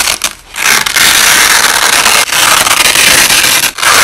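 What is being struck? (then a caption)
Nylon hook-and-loop tape. A hand peels the top layer off white nylon hook-and-loop (Velcro) strips and lays it back down, played back slowed. The result is a loud, sustained, bright ripping crackle with almost no low end, broken only by brief dips near the start, middle and end.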